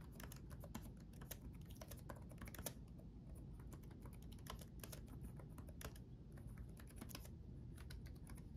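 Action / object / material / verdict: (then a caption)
tap / plastic laptop keyboard keys / plastic / none. Both hands type rapidly with their fingertips on the backlit chiclet keyboard of a black laptop, which has plastic keycaps on a solid chassis. Quick, soft, bright key taps with very short decay run steadily throughout. They sit over a quiet, continuous low rumble.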